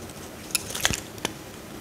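A metal utility knife blade scrapes slices off a solid pale green bar of soap held over a glass dish. A handful of short, crisp, bright scraping cuts sound over a faint background hiss, the middle strokes clustered close together and a final sharp one standing apart.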